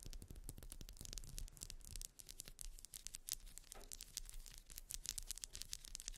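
Long white nails rapidly scratch the ridges of a grey ribbed solid wax pillar candle lying on fur. The result is a dense, continuous stream of quick, dry scratching strokes with bright, high crackle and a soft low rumble underneath.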